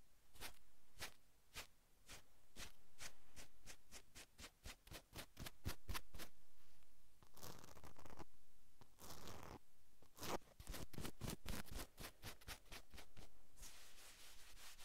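Long acrylic nails scratch a navy cotton sweatshirt on a man's shoulders in quick, steady strokes, making a raspy, bright scratching with a soft low rumble underneath. Smoother, longer rubbing passes from the palm break in partway through and again near the end before the scratching resumes.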